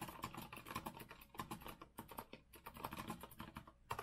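Fingertips from both hands type fast on a rose-gold retro Azio mechanical keyboard with a metal frame and round plastic keycaps. A dense run of crisp, clacky keystrokes with short, dry decays fills the clip, with a brief lull before a final burst of taps.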